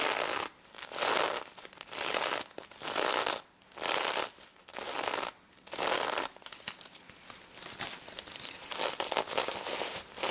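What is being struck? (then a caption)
Plush toy covered in plastic sequins. Long nails scratch the plastic sequins of a small pink stuffed pig toy held in both hands. The result is bright, crackly, rustling scratches that come in swelling bursts about a second long, separated by brief quiet gaps. In the second half they settle into a steadier, finer, continuous scratching.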